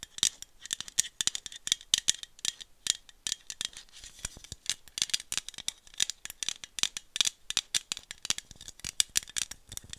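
A small aluminum iced-coffee bottle is rotated in the hand, tapped with long metallic nails and shaken, giving a rattling sound. Rapid, dense, crisp clicks and rattles, bright and high-pitched, with almost no low end. Each tap dies away instantly.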